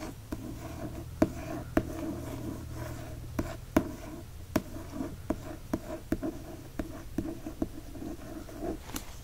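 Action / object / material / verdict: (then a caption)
tap / hardcover book with paper dust jacket / paper / none. One fingertip traces across and taps on the paper dust jacket of a hardcover book. Soft, dry rubbing runs underneath about thirteen short, sharp taps that die away almost instantly, over a faint low hum.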